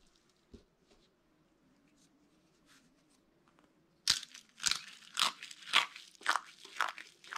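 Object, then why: Soap flakes. Brittle, dry curls of green and white soap are crushed in fists, rubbed into a pile, and held as a handful of broken pieces in cupped palms. After a quiet, faintly humming opening with one soft click, about seven loud, bright, crunchy crushing bursts follow in a loose rhythm.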